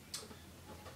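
A longboard wheel, its axle nut just tightened, is shaken side to side, and the bearing taps against the metal axle with a sharp, bright click followed by fainter ticks. The slight wiggle room shows the nut is correctly tightened rather than overtightened, which would crush the bearing casing.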